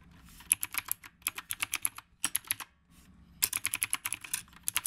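Fingertips type continuously on a retro typewriter-style mechanical keyboard with round plastic keycaps. Quick bursts of bright, crisp clicks come in clusters with short pauses between them, each click dying away almost instantly.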